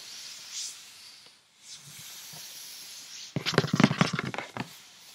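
Long painted fingernails tap quickly on the top and front face of a hollow printed paperboard cosmetics gift box, its opened flaps off to the side. After about three seconds of faint, airy hiss, a rapid burst of about nine sharp, hollow, papery taps with a low thud beneath them fades back into quiet.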